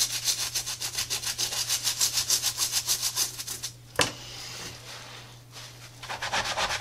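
A soapy brush scrubs the treaded rubber outsole of a tie-dye Adidas sneaker in quick, rhythmic strokes that make a bright, bristly hiss. A sharp click cuts in midway, followed by a softer, smoother wash as the brush moves to the side of the sole. The fast rubbing strokes then pick up again, over a faint steady low hum.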